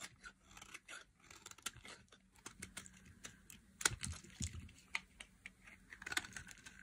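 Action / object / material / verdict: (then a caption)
scrape / bar of soap cut with a metal blade / soap / none. A metal blade scrapes and cuts curls off the end of a solid, hand-sized orange bar of dry soap. It makes quiet, dry, crackling scrapes and sharp crisp clicks with bright high hiss, plus soft low thuds underneath. Each crunch stops almost instantly with no ring.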